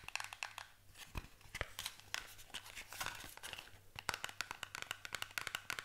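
Long nails tap and scratch quickly across the faces of a small paperboard cardboard box. Rapid, dry, bright clicks mix with a crinkly scratching rustle, each tap dying away almost instantly over a faint low hum. The result is a quiet, busy, crisp texture of irregular taps.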